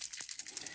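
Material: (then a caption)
Plastic. A Close to My Heart shimmer brush paint pen in papaya color is shaken, and its mixing ball rattles inside in about nine quick, bright clicks with almost no low end. The rolling ball shows the paint is being mixed before the cover is pulled off.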